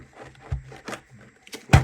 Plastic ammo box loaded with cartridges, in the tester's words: give it a shake no rattling